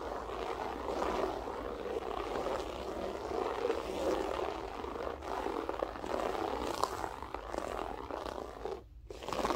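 Long nails scratch quickly with both hands across a grey loop-pile berber carpet on the floor. The sound is a dense, continuous rough scratching, concentrated in the midrange, that holds a steady level. It dips briefly into a short near-silence just before the end, then resumes.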